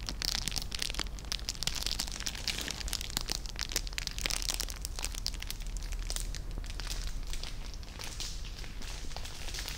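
A small clear cellophane bag tied with a red ribbon and holding treats is held up and crinkled with the fingertips. Dense, continuous crackling fills the clip, with many sharp, bright crinkles over a low rumbling background and no ringing.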